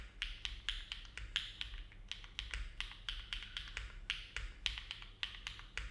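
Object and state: Mechanical keyboard typing.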